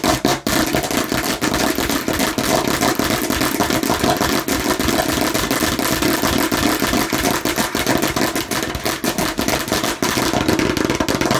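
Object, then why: Plastic toy watermelon slice. Aggressive tapping and scratching on a fake plastic watermelon slice. It makes a fast, continuous stream of dense, clattering hits with a hollow plastic tone centered in the low mids and a bright scratchy edge.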